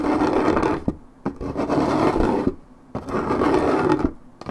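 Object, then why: Coated paperboard juice carton. Long red nails scratch the top surface of a coated paperboard orange juice carton held in one hand. Three sustained, dry, raspy scratching passes are heard, mostly in the low-mid range, separated by brief quieter pauses with faint taps.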